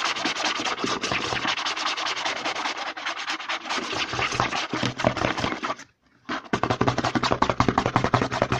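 Fingertips and short nails quickly scratch and rub the front label of a medium, hollow white plastic CeraVe lotion bottle with a green pump, held upright. The result is a dense, fast, bright crackling scratch with a hollow low body that runs steadily, stops for a brief silence near the six-second mark, then resumes with sharper, punchier strokes.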